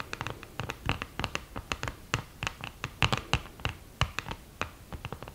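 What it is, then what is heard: Cardboard eyeshadow palette with mirror, scratched. Long green-painted nails scratch and tap across the mirror and cardboard lid of an open, flat, thin and hollow cardboard eyeshadow palette with a mirror in the lid. The result is a quick, uneven run of short, dry scratches and clicky ticks, each with a bright edge over a soft low thump, dying away almost instantly with no ring.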